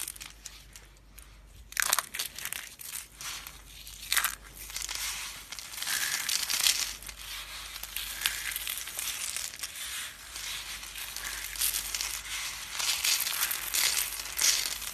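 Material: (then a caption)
Soap. Yellow and green dry soap curls and flakes are crushed between fingers and rubbed flat under the palms. The result is a bright, crisp crunching and crinkling, with sharp louder bursts early on that settle into a dense, continuous crackle with almost no low end.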